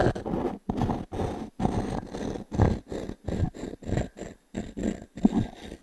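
The edge of a small wooden cube is scratched over the grain of a solid round pine log-slice coaster held in the palm and tilted. Short, rough, low-pitched scraping strokes come in quiet bursts separated by brief silences, with an uneven rhythm and no ringing after each stroke.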